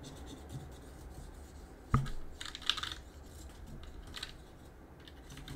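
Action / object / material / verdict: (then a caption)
scrape / mechanical keyboard with plastic keycaps / plastic / none. A gloved hand works a cotton swab between the plastic keycaps of a backlit Roccat mechanical keyboard with a metal plate. Quiet scratching and clicking of the switches come with one sharp click and bursts of bright, brushy scraping, all over a low, steady background rumble.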